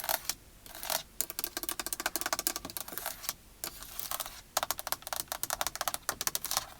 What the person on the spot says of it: lots of plastic sounds on the steering wheel